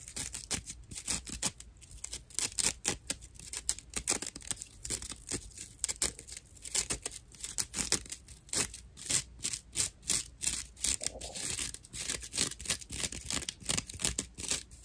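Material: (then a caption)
Loofah. Long nails scratch the rough surface of a dry natural loofah pad held in one hand. Rapid, dense strokes of bright, crackly scraping follow one another for about fifteen seconds, each brief and dry with no ring, and the sound is dominated by high hiss with little low end.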